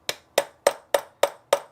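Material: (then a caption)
Wood. Six evenly spaced taps with a knockout on a wooden dowel in a chair joint give short, dry knocks centred around 570 Hz that die away almost at once. The solid sound shows the dowel is fully home in its hole.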